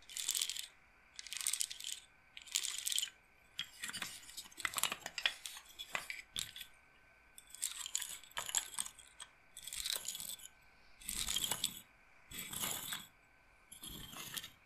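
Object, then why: Wooden bead roller massager. Fingers with long nails rub and roll the wooden beads of a wooden bead roller massager, its bead frame held close and tilted. The result is repeated bursts of dry, bright clicking and rattling, with quick taps that stop short between quiet gaps.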